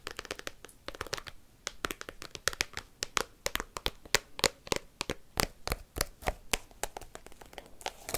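Fingers tipped with paperclips rapidly tap and scratch an open plastic card binder album whose clear plastic sleeve pages hold cards. The result is a fast, irregular stream of dry, crisp clicks and crinkly scrapes with bright, sharp attacks and almost no ring.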